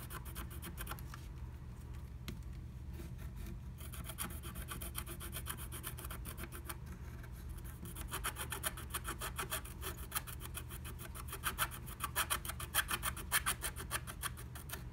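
A wooden stylus scratches the coating of a flat, black-coated scratch art sheet through a blue heart-shaped stencil cutout. It makes rapid, dry, raspy strokes with a bright edge, repeating over a steady low hum. The strokes grow louder and sharper toward the end.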